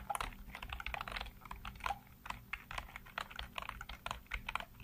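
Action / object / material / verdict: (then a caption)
tap / plastic computer keyboard / plastic / none. Fingertips rapidly tap and type on the hollow keycaps of a full-size black plastic computer keyboard. A quick, uneven run of light, dry clicks and clacks with bright edges fades instantly after each keystroke, over a faint low hum.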